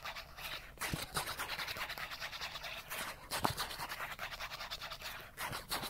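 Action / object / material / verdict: scrape / small flat cardboard card / cardboard / none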